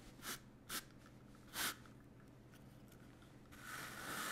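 A small green-and-white brush is rubbed across a large piece of soft black woven fabric with a white grid pattern, laid flat on a table and held still by one hand. Three short, bright, airy brushing strokes sound apart, followed by a longer, steadier hiss of brushing that grows louder toward the end.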